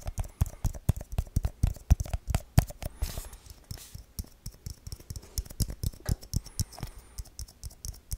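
A small, round, hollow aluminum tin with a printed lid is held in the hands and tapped and scratched quickly with the fingertips. The result is a rapid, uneven stream of dull, low thumps that die away almost instantly, with brief, faint, bright scratching in between.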